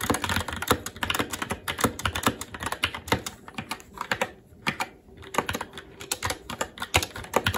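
Continuous fast typing with the fingertips of both hands on a SteelSeries Apex 7 TKL mechanical keyboard with plastic keycaps on a metal top plate and Red linear switches. Rapid, bright plastic clacks with a low thock underneath fall in dense bursts, with a brief lull just before the middle.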